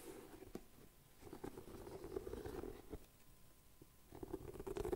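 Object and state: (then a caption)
Rubber shoe sole. Fingertips and nails scratch and rub the treaded rubber sole of a leather-look boot held upside down, while the second boot stands nearby untouched. Quiet, dull rasping bursts with a low-mid hum are heard, broken by brief sharp ticks, with quieter pauses between the rubbing spells. The rubbing swells again toward the end.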